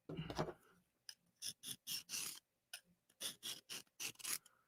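A soft steel knife blade is scraped in repeated strokes across a diamond sharpening plate, giving bursts of bright, hissy rasping. Compared with a harder 20CV blade, the strokes sound mushy rather than glassy, as if the diamonds gouge into the softer steel.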